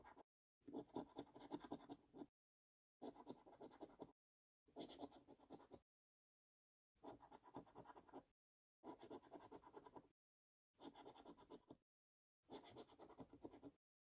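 A coin held in the fingers scratches the latex coating off a thin purple lottery scratchcard resting on a wooden table. The scraping comes in eight quiet, gritty bursts separated by silences, each a rapid run of rasping strokes centered in the low-mid to mid range with little deep bass or bright hiss.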